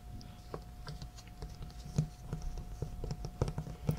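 Fingertips of both hands tap and scratch the top of a closed, hollow, medium-sized corrugated cardboard shipping box with labels, lying flat on a patterned cloth. The result is irregular, soft, low, hollow thumps mixed with faint papery scratching, over a steady low hum.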